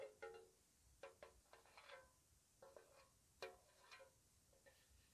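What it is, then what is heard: Metal tea tin. A small, square, white-painted, hollow metal tea tin is held close and tapped with long nails. It gives soft, slow, scattered taps that each ring briefly with a tinny, pitched tone around 540 Hz and bright overtones. Between the taps there is quiet background hiss.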